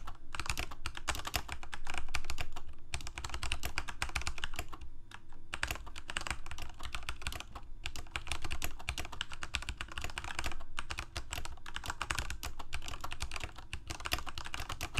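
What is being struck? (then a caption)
Plastic mechanical keyboard. A full-size Corsair mechanical keyboard with plastic keycaps on mechanical switches, a hollow plastic case and blue backlight is typed on rapidly by the fingertips of both hands. The result is a dense, uneven stream of sharp clicky keystrokes over a low steady hum.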